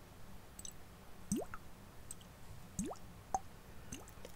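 A glass perfume bottle with a plastic lid and gold sprayer is handled and shaken, sloshing the liquid perfume inside. Soft, quiet liquid plops and drips rise in pitch against a low background hum, with a short bright tick near the end.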